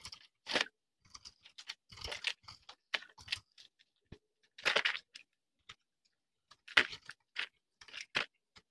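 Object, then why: Bar of soap carved with a knife blade. A small metal knife blade scrapes and carves a hand-sized bar of dry soap, green outside and blue inside, held in one hand, while flakes fall onto a concrete surface. Short, dry, bright crunching and shaving bursts come in an irregular series, separated by brief silences, with a few louder, longer cuts among them.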